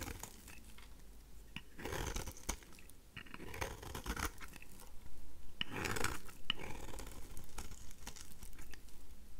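A craft knife blade scrapes the thin remaining slab of a pink, dry, solid rose soap bar into curled flakes. The scraping comes as a run of irregular, dry, crunchy strokes with bright crackle, growing louder toward the end. Each stroke stops short, with no ring.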